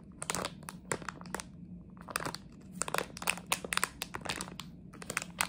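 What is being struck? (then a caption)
Plastic candy bag. A plastic jelly bean bag is scratched and crinkled with long nails, giving dense bursts of bright, crisp crackling over a faint low hum. The bursts come in irregular clusters with short quiet gaps, each crinkle snapping off almost instantly.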